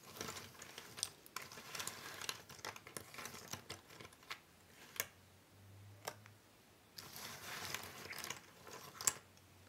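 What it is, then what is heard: Cardboard jigsaw puzzle pieces. Flat hands and long-nailed fingertips slide and shuffle a loose pile of small, thin cardboard jigsaw puzzle pieces on a wooden table. The result is bright, dry rustling and fast clicky scraping, broken by a few sharper clicks. A brief quiet pause with a low hum comes near the middle before the shuffling resumes.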